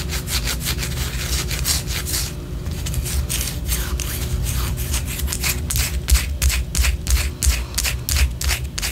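A large white solid wax pillar candle, held sideways, is scratched and rubbed with long orange acrylic nails. Quick, bright, papery scratching strokes repeat about three times a second over a steady low hum. The strokes come in a loose rhythm and grow slightly louder and more pronounced toward the end.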